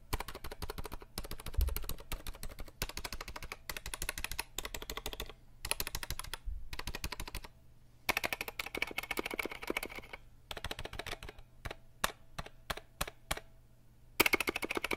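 Fingertips tap and press the plastic keycaps of a compact 60% RGB mechanical keyboard held at an angle, producing fast, dense bursts of sharp clicky clacks with brief pauses between runs. Toward the end the taps thin into sparse single clicks before a final flurry.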